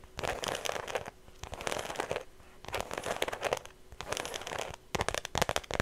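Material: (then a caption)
Faux leather. Long nails tap and scratch the flat face of a small, hollow, cream-colored shoulder bag that looks like smooth faux leather, with a thin strap, held close to the mic. Bursts of dry, crinkly scratching and quick bright taps come in clusters separated by short quiet pauses, each sound dying away almost at once.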